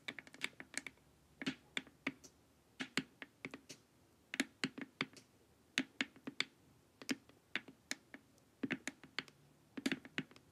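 Long nails tap the edges of a glossy, hollow plastic LED face mask in quick, irregular bursts. Each tap is a short, dry, clicky knock with a bright top and a faint hollow body, dying away almost at once. The tapping is quiet and stays steady throughout.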